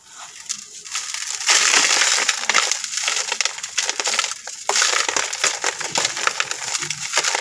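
A hand-sized, round, flat disc of dry, gritty sand-cement mix is broken by hand over a blue plastic bowl, with fingertips and thumbs crumbling and rubbing the pieces apart. Dry, grainy crunching and crackling rise to a loud, bright burst around the break, followed by continuous gritty rubbing. Dust and fragments patter down into the bowl.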